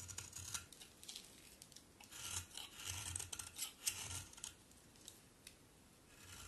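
A solid pink bar of soap is shaved with a utility knife blade, producing quiet, bright scraping rasps in uneven strokes. Flakes fall onto the pile beneath.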